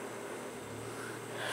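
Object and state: Nothing is struck.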